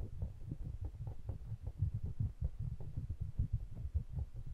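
Fingertips rub and tap the metal bodies of two small pencil condenser microphones with mesh grilles, held in the fingers. The result is a steady stream of quick, muffled low thumps and rumbling rubs, almost entirely deep bass with no bright content, each tap dying away almost instantly.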